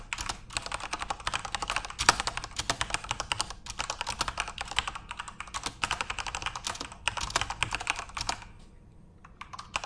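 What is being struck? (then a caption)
Mechanical keyboard with plastic keycaps. Both hands type rapidly with their fingertips on a full-size Corsair RGB-backlit mechanical keyboard with plastic keycaps. The result is a dense stream of short, bright, clacky key taps with a sharp accent near the 2-second mark. The typing thins out briefly near the end before a few last taps.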